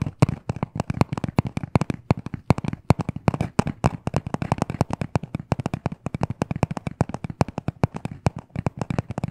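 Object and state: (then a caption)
Hollow cardboard box. Short nails and fingertips rapidly tap and scratch a small, hollow black cardboard necklace package. The result is a dense, continuous run of quick, dry, hollow clicks and knocks with a low, boxy body and very little ring, mixed with faint scratchy texture between the hits.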